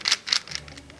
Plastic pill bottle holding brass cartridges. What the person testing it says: actually have to shake pretty hard to get them to make any noise